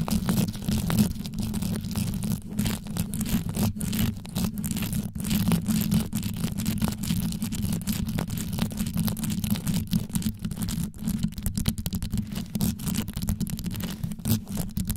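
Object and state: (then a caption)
Rhinestone-covered microphone grille. Long yellow nail tips rapidly scratch and tap the top of a black condenser microphone with a rhinestone-studded grille. The result is a continuous, deep, rumbling scrape concentrated in the low end, broken by quick clicky ticks that run without pause for the whole clip.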